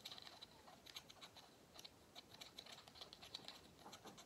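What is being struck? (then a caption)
Pleated paper vacuum cleaner filter. Fingernails scratch along the pleats of a small, hollow, cylindrical vacuum cleaner filter with pleated paper sides. The result is a quiet, rapid patter of dry, bright ticks and scrapes with a high tonal edge and almost no low end.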